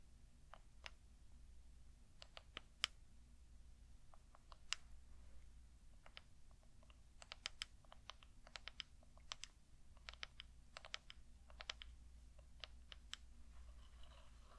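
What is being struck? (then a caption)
Small wooden cup. A small, hollow, light-colored wooden cup or bowl, empty and held in both hands, is tapped with long dark-painted nails. This produces a quiet series of short, bright, dry clicks in irregular bursts that sound like typing on a keyboard. A steady low hum runs underneath.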